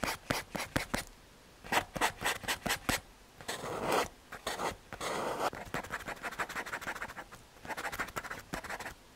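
A paper blending stump is rubbed over a graphite drawing on a small, flat, solid brown MDF/hardboard panel, making dry, bright scratchy rubbing strokes. Quick back-and-forth bursts alternate with a few longer, smoother rubs, with short quiet gaps between groups.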